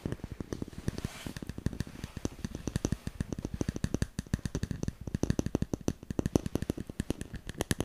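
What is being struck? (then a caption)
Smartphone in a plastic case. A handheld smartphone in a solid black plastic case is rapidly tapped and scratched with fingernails close to the microphone. The result is a fast, steady stream of dry, sharp clicks with a low, thumpy body and almost no ring, over a faint scratchy hiss.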